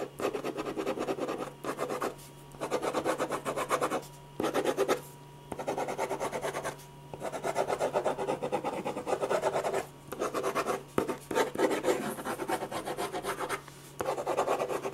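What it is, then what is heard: Pen shading on a paper sketch pad. A metal ballpoint pen rubs rapid shading strokes back and forth across a large sheet of white drawing paper on a firm, flat, solid board. The result is a dense, raspy scratching that comes in bursts separated by short pauses, centered in the low mids around 390 Hz with a bright papery hiss on top.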